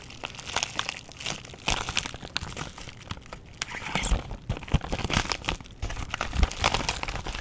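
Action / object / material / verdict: scrape / plastic bubble wrap pouch / plastic / none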